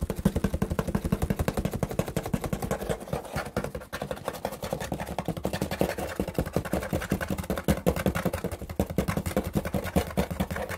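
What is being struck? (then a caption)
Corrugated cardboard box. Fingers scratch and tap rapidly along the top edge and side of a hollow corrugated cardboard shipping box whose edge is starting to fray. The result is a dense, steady stream of dull, hollow taps and rough scraping, heavy in low tones and with very little brightness, each hit dying away almost instantly.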